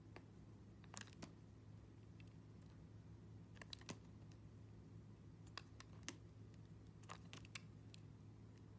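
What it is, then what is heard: Glycerin soap being carved. A metal blade slices and scrapes thin layers from a solid round yellow glycerin soap disc, some with dark seeds, held in the hand, with a green soap nearby. Short, crisp, bright ticks and snaps come at irregular intervals over a steady low hum. Each cut dies away almost at once.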